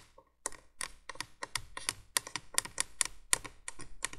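Long nails tap and scratch on the hollow plastic base of a 1980s plastic window candolier light. After a brief quiet start, a quick, uneven run of sharp, bright clicky taps follows, mixed with short scratchy strokes.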